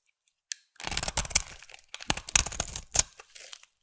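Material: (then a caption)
Soap. A solid green bar of soap held in the hand is scraped into curls with a utility knife blade. After a brief click, two bursts of dry, crunchy scraping follow, bright and crisp with only a little low-end body.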